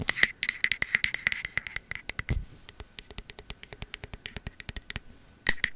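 Long metal finger-claw nail caps rapidly tap the body of a peach matte ceramic cylindrical candle vessel with a bamboo lid, held sideways. About 35 short, bright, clicky taps ring with a glassy high shimmer and die away almost at once. A brief low thump comes midway, the taps turn softer and sparser, then a loud flurry returns at the end.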